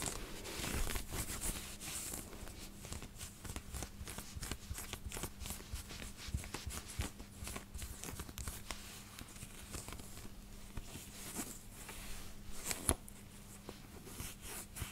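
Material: Cotton.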